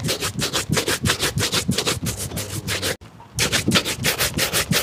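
A hollow, empty black leather lace-up shoe held in the hand is vigorously brushed with a wooden-backed bristle shoe brush. Rapid, rhythmic back-and-forth strokes make a bright, hissing scrub with soft low thumps. A brief pause falls near the three-second mark before the brushing resumes.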